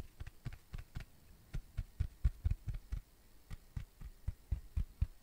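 A round, flat, thin, solid tan cork coaster is tapped and scratched with fingertips and nails. The result is a quick, irregular run of soft, dull, low thuds with brief scratchy edges, each dying away almost at once.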